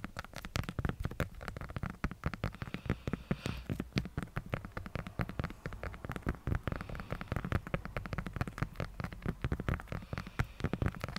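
Long nail tips tap rapidly and continuously on the top of a hand-sized, pink, hollow hard-plastic light-up skull decoration. Each tap is a short, dry click with a hollow, low-weighted body and almost no ring. The taps run as a dense, uneven patter that sounds much like rain on a surface.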